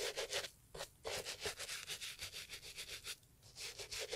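A gloved hand holds a brown Italian leather loafer, a hollow shoe, and scrubs its leather upper with a small bristle brush. Quick back-and-forth strokes make a bright, dry scratching rub with almost no low end, pausing briefly twice between bursts of brushing.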